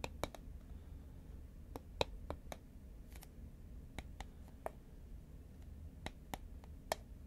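Long nails tap on a hollow, medium-sized green Pringles composite paperboard chip can held horizontally. A series of short, dry clicks are spread unevenly over a steady low rumble; each tap dies away almost instantly and carries a faint hollow tone around 540 Hz.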